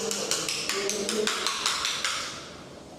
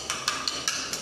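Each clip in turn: First: About ten quick, bright clacking taps on a floor tile with a papery, rattly edge: a hollow tile. Second: Five quick, high, clicky taps on a floor tile; tight and short, with no hollow boom, pointing to a solid bond.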